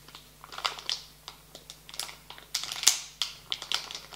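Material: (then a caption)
Plastic foil. A full, medium-sized printed plastic foil bag of marshmallow candies lying on a table is pressed and rubbed flat with fingertips and palms. Bright, sharp crinkles and crackles come in irregular bursts, with the loudest flurries near the middle and end and quiet gaps between.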